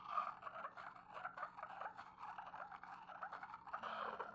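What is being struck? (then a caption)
Porcelain mortar and pestle. A porcelain pestle is ground around the inside of an upright, hollow, empty white porcelain mortar. It makes a continuous, quiet, gritty scraping with a mid-range ring that swells and fades as the pestle circles the bowl.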